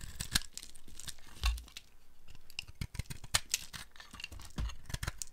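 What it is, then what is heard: Dry soap being carved. A flat metal blade carves a solid, speckled, dry multicolor soap ball held in the hand, breaking off crumbly flakes. The clip is a quick series of dry, crackly scrapes and crunchy bursts with bright, brittle crumbling and soft low thumps, each cut dying away almost at once.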